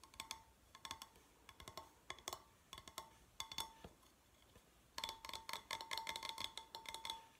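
A hand-sized, hollow, red-painted stainless steel tumbler shaped like a drink can, with a steel base, is held and then set on a table while fingernails tap around its sides. Short bursts of bright metallic clicks ring briefly at about 900 Hz, then turn into a dense run of rapid tapping for the last few seconds.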